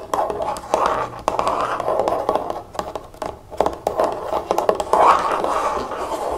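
A large, hollow pink plastic bottle of nail polish remover, holding liquid, is held up and tapped and scratched with long fingernails. Quick dull taps are mixed with bursts of rasping scratches, with a midrange body around 600 Hz and very little low or high content.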